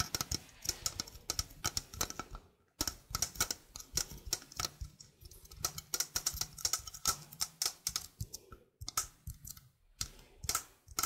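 A small, hollow stainless steel sink strainer with a mesh basket is held in hand while long painted fingernails tap and scratch its mesh and rim. The result is a quick, uneven run of sharp, bright clicks and ticks with almost no ring, broken by a few brief pauses. A faint low hum sits underneath through the middle of the clip.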